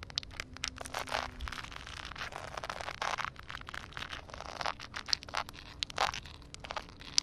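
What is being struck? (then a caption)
Wet concrete slab. Long painted acrylic nails tap and scratch a flat, solid concrete slab outdoors that is covered by a thin layer of water. Dense, crisp scraping and gritty scratching are broken by many sharp, bright taps, over a faint steady low hum.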